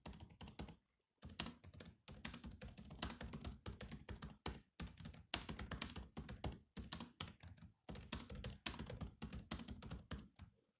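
Both hands tap the black plastic keys of a silver laptop keyboard with their fingertips. The result is quick bursts of dry, clicky keystrokes, each a soft low thud with a bright click on top, separated by brief pauses. Every tap dies away almost instantly.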